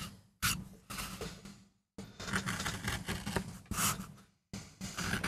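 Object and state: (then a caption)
MDF printing block being carved. A steel gouge held in a wooden handle carves a small, flat, solid MDF relief printing block with a dark-inked surface, lying on a textured mat. Repeated scraping and gouging strokes come in bright, gritty bursts separated by brief silences as wood chips lift off, over a faint low steady tone.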